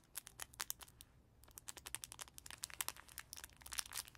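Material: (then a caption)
Fabric, plastic film. Fingertips and nails scratch and squeeze the crinkly pages of a small black-and-white cloth baby book held in both hands. The result is a quiet, rapid stream of bright, crisp crinkles and scratches with a brief lull partway through, then steady rustling to the end.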